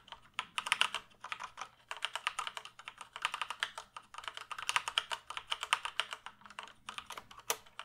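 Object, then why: Plastic computer keyboard. Fingertips type and tap on the keys of a full-size black plastic computer keyboard held upright. Quick bursts of dry, bright clicks and clacks with no ring, separated by short pauses. The dense keystrokes carry no low rumble, only crisp high-pitched snaps.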